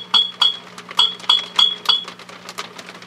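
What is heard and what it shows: Gentle taps on the metal shield of a 6CB6 vacuum tube in an HP 400H voltmeter produce a quick series of bright, glassy clinks, each ringing briefly at a steady tone near 3.3 kHz over a low, steady hum. The ringing carried through the circuit shows the tube is microphonic.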